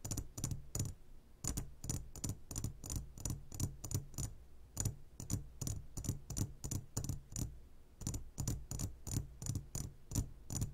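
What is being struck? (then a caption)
Glass jar of gummy candies. Fingertips tap the walls of a clear glass jar full of gummy candies in quick, irregular bursts of about 31 taps. Each tap is a short, dry click with a bright edge over a low, dull thump, dying away almost at once with no lasting ring.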